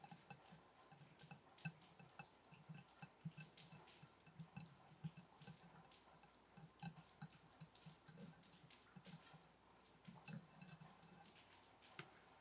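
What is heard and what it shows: A glass candle jar is tapped repeatedly in a quiet, irregular rhythm, each tap a short, bright tick that dies away almost at once. A steady low hum runs underneath the taps throughout.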